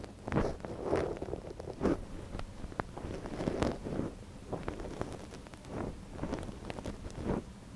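A small soft silicone ear on a binaural microphone has its canal scratched with a thin wooden stick held in one gloved hand. Close, rustling scrapes and crackles come in repeated bursts over a low rumble, with no bright sparkle.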